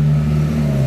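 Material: Nothing is struck.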